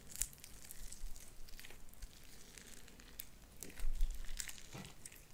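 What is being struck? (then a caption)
Sticky slime with small beads. Light-blue sticky slime with white beads is pulled apart and squished between both hands. It gives a steady stream of soft, crinkly crackles and small bright pops over a low, muffled rumble, with a louder squelchy surge near the end.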